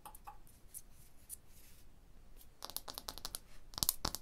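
Long blue nails scratch and tap on the solid limestone surface of a limestone block wall. Soft, faint scraping comes first, then a run of sharp, bright clicking taps that stop dead with no ring.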